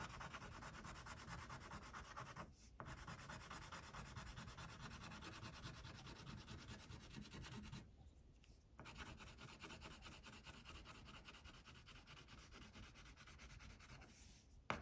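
An orange wax crayon is rubbed steadily across a flat white paper coloring sheet on a table to shade a tiger, making a continuous soft, scratchy rubbing with a bright, grainy texture. The quiet strokes run almost without a break, pausing briefly near 2.6 seconds, for about a second around 8 seconds, and again just before the end.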